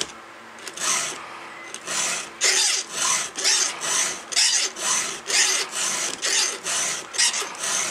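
A round steel file with a red guide is drawn by hand across the cutter tooth of a solid steel chainsaw chain. About fourteen separate rasping filing strokes come in a steady rhythm, each a bright, high scrape with a faint lower resonance beneath it.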